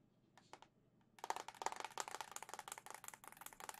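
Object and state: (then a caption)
Plastic game console casing tapped with nails. Long nails tap the hollow back of a white plastic Zelda-edition Nintendo Switch OLED console held up in the air. A few soft, sparse taps give way to a rapid, uneven run of crisp, bright plastic clicks, each dying away almost instantly with a faint hollow tone.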